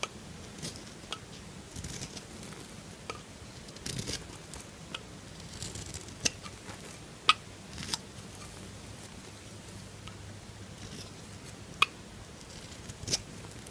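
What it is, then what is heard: Bar soap being carved. A metal knife shaves and carves a solid pink bar of soap, making soft, bright scraping and crumbling sounds. Sharp, irregular clicks and snaps cut through now and then as the blade bites in, over a faint steady low hum.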